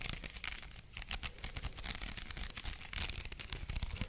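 Long nails scratch across a white plastic headband densely covered in small faux pearl beads, held up in both hands. The result is a continuous, rapid stream of dry, bright clicks and crinkly rattles over a soft low rumble, with short denser bursts near one and three seconds.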